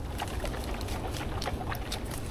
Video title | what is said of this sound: Three Days Spearfishing and Foraging in Hawaii | You shake it. And if you can hear the water moving around, it means it's gone bad.